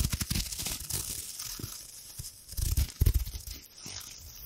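A hand-sized sheet of thin gold metallic foil wrapper is crinkled and rubbed between long-nailed fingers right next to the microphone. It makes a dense, crackling, tearing-like rustle with bright hiss and soft low thumps, swelling into louder crunchy bursts near the end before easing back to a quiet crinkle.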